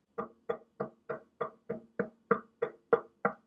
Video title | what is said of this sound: TECHNICS' All-New SL-1300G, Better than the SL-1200G? | it sounds a bit Hollow and resonant